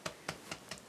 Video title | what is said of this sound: Паски з печі: найбільше напікає на поминальні дні, щоб дісталося усім предкам | коли стукаєш чуєте отакий наче Глухенький звук